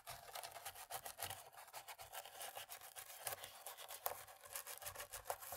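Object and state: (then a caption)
Plastic laptop keyboard being scrubbed. A cotton-tipped thin stick, held by a hand with long nails, scrubs between the keys of a dirty black plastic laptop keyboard. The result is a quiet, continuous bristly scratching and rubbing with a bright, hissy texture and a faint pitched tone, broken by small clicks and taps against the keys.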